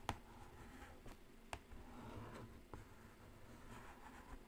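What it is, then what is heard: Cardboard eyeshadow palette. A single long nail taps slowly on the lid of a black Carnival cardboard eyeshadow palette. Three short, dull clicks stand apart over a low, quiet background.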